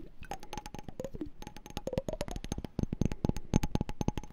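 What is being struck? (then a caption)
Small glass jar partly filled with water. Fingertips and nails tap and scratch the walls of a small hollow clear glass candy jar with a pink label and a pink-and-white checked lid, partly filled with water and held in the hands. A rapid stream of short, dry clicks and taps with faint pitched glassy ringing runs throughout, with a low thumping body under the quick, bright ticks.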